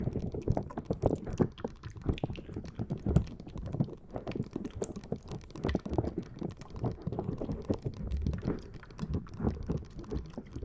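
A fist-sized green soft rubber or silicone puffer ball with many long tentacle spikes is held in both hands just above a Zoom recorder and scratched and squeezed with long dark-blue painted nails and fingertips. It makes a dense, continuous stream of soft, dull clicks, taps and rubbery squishes, mostly low and muffled with short, quick-fading hits and little brightness.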